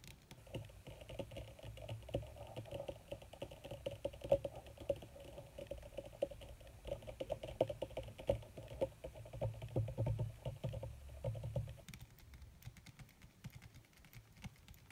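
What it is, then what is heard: Leather sheet. Long red nails tap fast with fingertips spread across a crumpled black leather (possibly faux) sheet. The result is a dense, rapid patter of short, dry taps with a soft low thump and a faint mid-range ring. It runs steadily for about 12 seconds, then thins to quieter, scattered taps.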